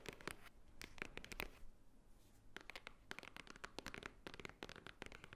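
Long nails tap and scratch the top edge of a small, hollow white Swarovski cardboard jewelry box. Quick, dry, bright clicks and scratchy bursts come in dense clusters, with a brief quieter pause midway. Each tap dies away almost instantly, giving a soft, papery hollow knock.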